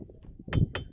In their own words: ఎర్రటి ఎండలో ఖనేల్ ఖనేల్ మని మృదు మధురమైన సంగీతాన్ని వినిపిస్తున్న రాళ్ళివి.